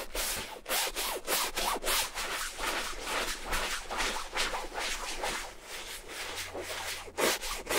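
A large beige canvas Burberry shopper bag lies flat while its soft, hollow fabric body is scrubbed back and forth with a wooden-handled bristle brush and foamy shampoo. Each stroke gives a bright, scratchy, rubbing hiss with little low end, repeating about twice a second in an uneven rhythm.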